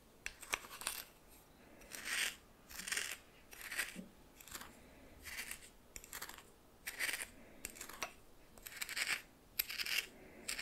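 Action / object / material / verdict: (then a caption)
scrape / coarse salt stirred in a small glass bowl / salt / none. A red plastic spoon stirs and scrapes coarse salt in a small glass bowl held in the hand. Bright, gritty crunching and rustling comes in irregular bursts, with sharp little clicks as the grains shift against the glass.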